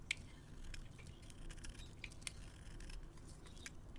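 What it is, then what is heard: Soap bar being carved. A metal blade scrapes and carves fluffy shavings off a solid white soap bar with a dark rim, held in hand. Quiet, soft scraping sits over a low rumble, broken by brief, sharp, bright ticks and crisp flakes that stop dead with no ring.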